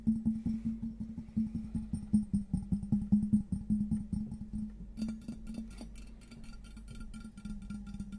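Fingertips and nails tap rapidly on the patterned surface of a large, hollow, empty cut-crystal glass vase, making quick, dull, woody knocks over a steady low tone near 210 Hz. Each tap dies away almost at once. Around the five-second mark the tapping turns softer, with lighter, brighter ticks.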